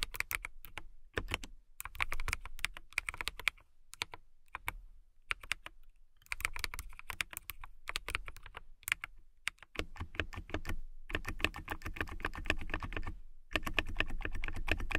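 Typing with long nails on a clear acrylic mechanical keyboard with transparent keycaps produces rapid, bright clicky keystrokes in uneven bursts. Short pauses separate the runs, and the typing grows denser and steadier toward the end.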